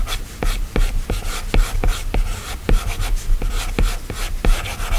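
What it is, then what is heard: Stylus tapping and scratching on a glass tablet screen. A plastic stylus tip is drawn in quick strokes across the solid glass screen of an iPad, giving a dry scratching rub over a low background rumble. Eleven short, sharp taps land irregularly through the strokes, each dying away almost at once.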